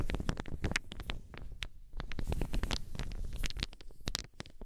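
Small solid wooden balls are gripped and rolled in cupped hands, clacking against each other. A dense, rapid run of short, dry clicks and knocks with bright edges sits over a soft, low rumbling shuffle of the balls turning.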